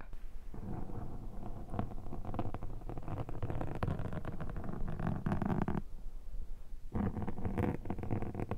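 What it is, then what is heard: Foam microphone windshield being scraped. A thin metal pick scrapes repeatedly across the surface of a black foam microphone windshield, close up. The scraping comes through as dense, muffled, rumbling scratches that are heavy in the lows. It pauses briefly near the six-second mark, then resumes.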